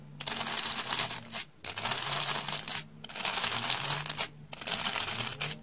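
A solid, porous rectangular slab of beige dry floral foam, held in the hand, is scratched with a round hair brush with stiff dark bristles. Long, bright, dry scratching strokes repeat with brief pauses between them, giving a crisp crinkly rasp that stops quickly after each stroke.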